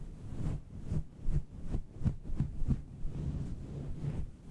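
Fingertips and long red-painted nails of both hands rub and stroke a hollow, fluffy grey synthetic fur windscreen over a standing USB microphone. The result is a deep, muffled rumble of soft thumping swishes, almost entirely low-frequency, pulsing unevenly like a heartbeat with no bright content.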